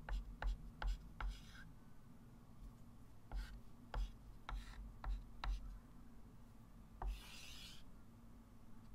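A white chalk stick writes and draws long lines on a small, solid, wood-framed flat chalkboard. Ten sharp taps of the chalk against the board come in quick, uneven bursts, some followed by short, bright scratching strokes and one longer rasping rub near the end, all over a steady low hum.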